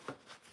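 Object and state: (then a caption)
Stiff, fully dried tanned deer hide. A stiff, fully dried piece of tanned deer cape hide, left over from a buck mount, is flexed and handled. It gives one dry, cardboard-like crackle followed by a fainter rustle. The hide is stiff but can still be stretched and softened with oil.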